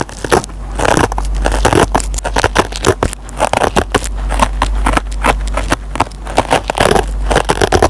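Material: Nylon fibre.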